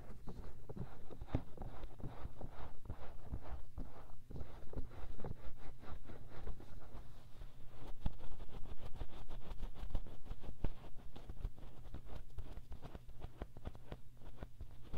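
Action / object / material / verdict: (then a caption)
scrape / silicone ear of a binaural microphone / silicone / none. Fingertips and short nails scratch and rub the soft silicone ear mounted in the round white plastic housing of a 3Dio binaural microphone. Close, dense rustling and scratching sounds repeat in quick, uneven strokes over a steady low hum, with brief sharp clicks throughout.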